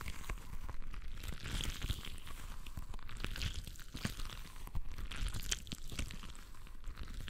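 A soft, full, translucent rubber stress ball filled with water beads is squeezed and rubbed between both hands with the fingertips. It makes a steady stream of sticky, crinkly, squishy crunching with a deep low rumble underneath and bright crackles on top.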